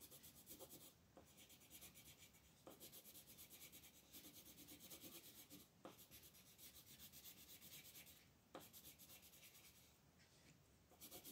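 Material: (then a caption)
Paper. A green wooden colored pencil is rubbed in small shading strokes near the top right of a flat, thin paper coloring book page resting on a table. The quiet, steady, bright scratchy rubbing pulses with each rhythmic stroke, broken by a few brief sharper ticks.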